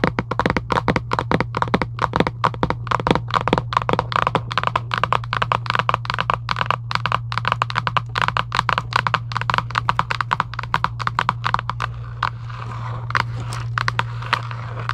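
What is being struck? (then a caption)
Cardboard game box. A hollow Giant UNO cardboard game box lying flat is tapped and scratched with long acrylic nails, giving a rapid, dense run of short, dry clicks and taps. A steady low hum sits under the sound throughout, and near the end the taps thin out into a softer, brushing scratch.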